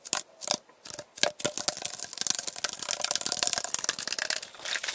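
A tall, hollow aluminum Arizona iced tea can, held sideways with its fill level unclear, is tapped and scratched along its side with fingernails. A few separate sharp, bright taps open the clip, then give way to a dense, fast run of crisp clicking and scraping. The sound is thin and high-pitched, with no low end and almost no ring after each strike.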